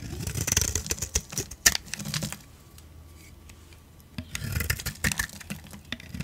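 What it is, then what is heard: Bar of soap being scraped. A hand-sized solid green bar of soap with a gold outer layer, held in one hand, is scraped and carved into flakes with a metal utility blade. Dry, crisp crunching and scraping bursts with bright, high crackle fill the first two seconds, then a quiet pause follows before another run of crunchy scrapes begins near the four-second mark.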